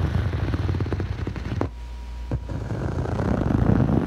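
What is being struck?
Foam yoga mat.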